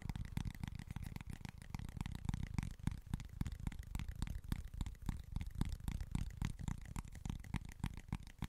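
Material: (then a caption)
Cork. Short nails scratch and tap across the face of a small, flat cork board. The result is a rapid, irregular run of soft, dull taps and scratches, heavy in the low end, that die out instantly with no ring.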